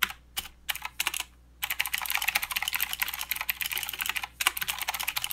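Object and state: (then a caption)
Plastic mechanical keyboard. Fingertips type with both hands on a full-size mechanical keyboard with plastic keycaps and blue clicky switches. A few scattered, sharp, bright clicks lead into a brief pause, then a dense, rapid run of clacking keystrokes. A short gap follows before the typing resumes.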